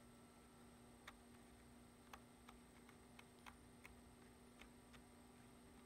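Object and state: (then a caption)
Plastic computer keyboard. Fingertips tap the keys of a black plastic computer keyboard resting on a wooden desk, typing steadily. Nine quiet, sharp plastic clicks stand out over a low, constant hum and a faint steady high tone.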